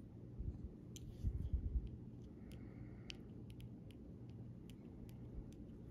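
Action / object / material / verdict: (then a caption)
tap / plastic rhinestone stickers tapped with a metal pen / plastic / none. A metal pen body and tip rubs and taps across a flat sheet of small rainbow plastic rhinestone stickers and larger clear gems on a clear plastic backing. Quick, irregular, light clicks and scratches sound over a steady low rumble, with a few soft, dull thumps early on.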